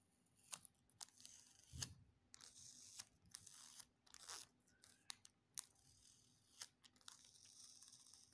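A small crumpled piece of clear plastic sticky tape is pinched between fingertips, pressed, stuck together and peeled apart. Quiet, bright crackling and sticky tearing bursts alternate with sharp little snaps as the adhesive pulls free. There are short pauses between the bursts.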